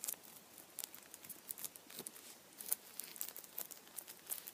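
A hand-sized Kinder chocolate Easter bunny wrapped in blue aluminium foil has the foil around its head pinched and rubbed with fingertips. It makes quiet, bright, dry crinkles in short bursts with almost no low end and no ring.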